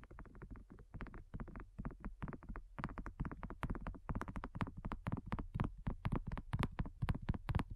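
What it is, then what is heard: Silicone coaster. Long nails tap fast on a thin, solid, flat round pink dotted silicone coaster. The rapid taps come in uneven bursts, each a dull, soft, low thud with a faint bright click on top that stops almost instantly. The tapping stays quiet and muffled throughout.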